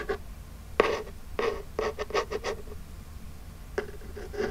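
Long jeweled nails scratch across the surface of a small, flat, printed Birchbox cardboard box while hands flex the hollow box slightly. The result is a series of short, dry, raspy scratching strokes with a hollow papery resonance around 440 Hz, separated by quiet pauses.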